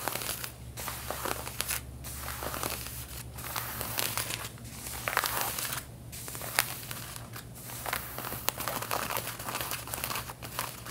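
Long red-painted nails scratch the back pockets of light blue denim jeans being worn, making dry, bright, crinkly rasping strokes. Short pauses fall between the bursts of scratching, and a steady low hum runs underneath throughout.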